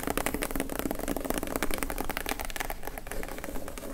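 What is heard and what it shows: Long acrylic nails rapidly tap and scratch the lid of a closed, hollow, medium-size plain brown kraft cardboard box lying flat on dark fabric. The result is a dense, continuous stream of quick, dry, hollow clicks and rustling scrapes with a low, boxy resonance. The taps decay almost instantly.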